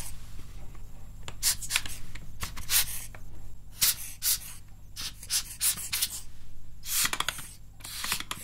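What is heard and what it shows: A small brush or tool is scrubbed and rubbed between the keys of a full-size plastic mechanical-style gaming keyboard held up in both hands. Bright, scratchy bursts of brushing come in quick, uneven strokes over a steady low hum.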